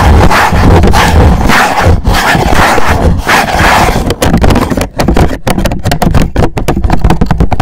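Fingernails of both hands scratch the face of an upright, hollow black rigid cardboard gift box. Loud, rough scratching with a heavy low, hollow rumble runs continuously for the first four seconds. It then turns into choppier bursts separated by brief dips.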